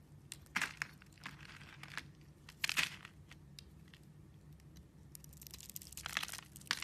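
A metal blade cuts and scrapes a solid rectangular bar of blue soap, scored into slices and held in the hand, shaving off strips. Crisp, bright crunching and crinkling bursts rise over a quiet background, with a louder run of dense scraping near the end.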